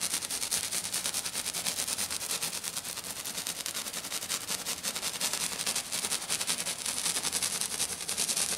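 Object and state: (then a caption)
Glitter-covered sheet. A hand with black nails taps quickly and continuously on a flat, silver glitter-covered sheet. The sound is a dense, crisp stream of bright, hissy clicks with almost no low end, holding a steady level throughout.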